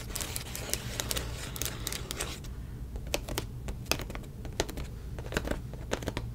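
Long nails tap and scratch the bubbles of a silver plastic bubble mailer standing in an open box. Dense, scratchy crinkling fills the first couple of seconds, then gives way to a rapid series of short, sharp, bright clicks. A steady low hum runs underneath.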